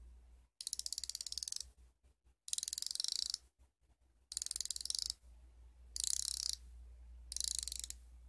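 A solid chrome steel combination wrench with a hinged flex ratchet head is held in one hand while the ratchet is worked back and forth and the flex head is pivoted. Five separate bursts of rapid, bright pawl clicking come through, each about a second long. Quieter pauses separate them over a faint steady low hum.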